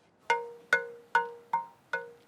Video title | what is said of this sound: HARMONY celebrates the joy of music and the creation of handcrafted instruments | hear the difference it's amazing this is good